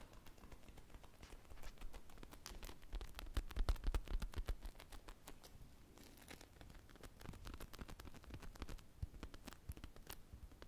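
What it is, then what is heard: Foam squishy toy scratched and tapped. A small, soft, solid polyurethane foam ice-cream-on-a-stick squishy with teal glaze and sprinkles is held in both hands and scratched and tapped with long painted nails. Quick, dense, uneven scratching and tapping with short dry clicks runs throughout, mostly low and quiet with faint bright ticks, swelling louder in the middle.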